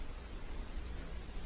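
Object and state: Nothing is struck.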